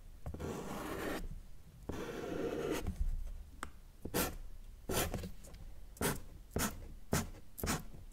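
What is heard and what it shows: A felt-tip marker draws on a flat sheet of thin white drawing paper, first in two long rubbing strokes tracing a sun outline, then in a series of short, quick scratches for the rays. Each stroke is a dry, papery rasp with a bright hiss, separated by quiet gaps.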